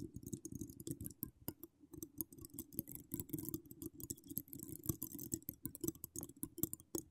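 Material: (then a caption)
Metal mesh. Long acrylic nails decorated with charms scratch across a hollow woven metal mesh microphone grille. A dense, fast stream of dry clicks and rasping scrapes sits over a muffled low-mid rumble, with bright crisp edges on each stroke. The sound stays quiet and close throughout.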